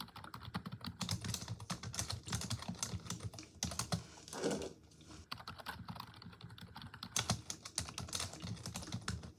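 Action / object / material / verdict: tap / plastic computer keyboard / plastic / none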